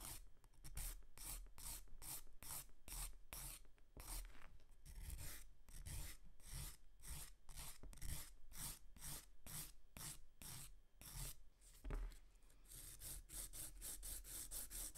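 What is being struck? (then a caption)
Emery board filing a fingernail. A grey emery board is rubbed rapidly back and forth across the tips of short natural fingernails. The result is a steady run of dry, raspy filing strokes with bright, hissy highs and a low rumble underneath.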